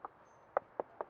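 Four short, dry knocks are heard on a stucco-clad wooden column of a house. Each knock sounds hollow and mid-pitched, with almost no ring, showing the column is wood rather than block.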